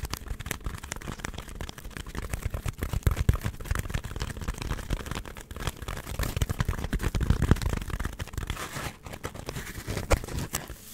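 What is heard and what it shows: Long nails scratch a solid, hand-sized white polystyrene foam block, producing a dense, continuous stream of short, dry scratches and crackles. The sound is mostly low and thumpy with a faint bright fizz, and it swells and dips in loudness without ringing.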